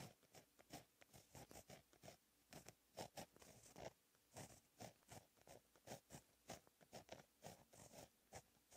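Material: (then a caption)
Paper. A fine-tip gel pen held in the fingers writes Korean cursive in blue ink on a lined black paper notebook page lying flat on a solid surface. The pen tip scratches the paper in a steady run of short, dry strokes with bright, hissy edges and a soft midrange scrape, each ending almost instantly.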